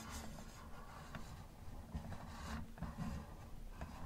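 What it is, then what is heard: Plastic toy car, scratched. A gloved fingertip scratches and rubs the hood of a hollow yellow plastic Camaro model car. The result is a quiet, steady low scraping and rubbing with a few faint brighter ticks.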